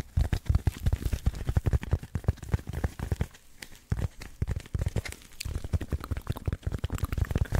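A hand-sized rectangular block of dense black packing foam with cut-out slots, solid and spongy, is held in both hands close to the mic and scratched and squeezed with the fingertips. It makes a rapid, irregular run of dull, muffled scratches and soft thumps, almost all low in pitch with little brightness. The activity eases into quieter patches around the middle before picking back up.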